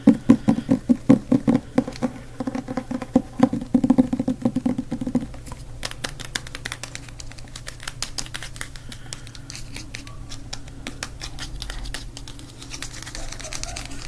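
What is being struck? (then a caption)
Hardcover book with board cover. A closed black hardcover book is held in the hands while fingertips tap rapidly on its cover and spine. For the first five seconds the taps are louder and more distinct, with short, dull, low-pitched knocks. They then turn into softer, quicker, irregular pattering that continues to the end.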